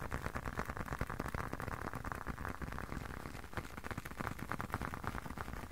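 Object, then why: Leather long wallet. Fingertips tap and scratch a closed, hand-sized blue leather long wallet. Quick, soft, muffled taps with scratchy friction come in a steady, uneven stream for about six seconds, each one dry and short, with most of the weight in the low end.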